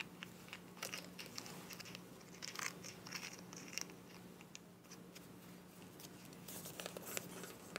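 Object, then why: Small plastic cosmetic tube with cap. Long nails tap and scratch the body and mint cap of a small, filled white plastic cosmetic tube. The sound is quiet and bright: a run of crisp clicks and dry, crinkly scratches over a faint steady low hum, each tap dying away almost instantly.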